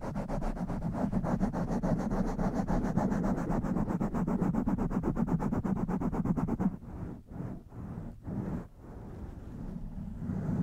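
Long nails and fingertips scratch and brush the sides of a blue foam windscreen on a black microphone. For about the first seven seconds there is a fast, steady run of dense, rumbling scratches. After that come slower, separate brushing strokes with short quiet gaps, then a softer continuous rub.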